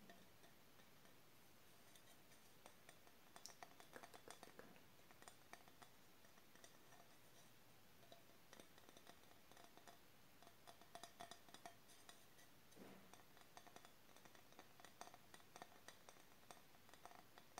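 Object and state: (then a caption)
Painted ceramic tile. A small, flat, square glossy ceramic tile, painted with a witch-and-moon scene, is held up in both hands while long nails tap and scratch across its surface and edges. The result is a quiet, steady run of dense, short tick-like clicks with a faint ringing tone around 730 Hz and light scratchy hiss.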